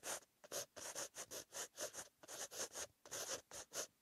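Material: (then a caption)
Paper. A green-ink pen with a metal tip writes across a white lined paper notebook page, making a quick run of about eighteen short, dry scratching strokes with brief pauses between them. The scratches are thin and bright, with almost no low end and no ring after each stroke.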